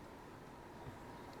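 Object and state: Nothing is struck.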